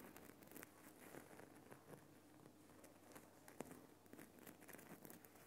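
Fingertips with dark nails tap and scratch the rough surface of a Himalayan rock salt lamp, a large, solid lump of glowing pink rock salt. Soft, quiet patters and dry crinkly scratching sounds overlap continuously, with occasional slightly sharper taps that stop almost instantly.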